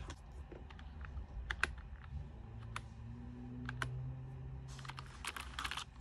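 Long-nailed fingers tap and click on the keys of a white plastic full-size keyboard, whose backlight switches on partway through. Sharp, bright clicks sound singly and in small clusters over a steady low hum, then thicken into a faster flurry of typing near the end.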